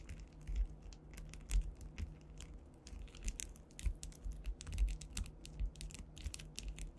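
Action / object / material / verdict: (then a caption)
tap / panel covered in faceted plastic rhinestones / acrylic / none. Long white nail tips rapidly tap a solid flat panel densely covered with faceted clear rhinestones, likely acrylic, in a typing-like motion. The result is a fast, irregular stream of bright, crisp clicks and light scratchy ticks over a low, steady hum, with each tap dying away quickly.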